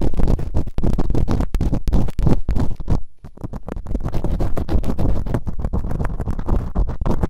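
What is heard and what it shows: Bamboo earpicks, held in fingertips with long nails, scratch and rub quickly inside both open ear canals of a white binaural microphone fitted with two soft, solid rubbery silicone ear models. The result is a dense stream of close, muffled scratching and scraping, dominated by deep low thuds and rumble with almost no bright content. The sound eases into a brief quieter lull around the middle.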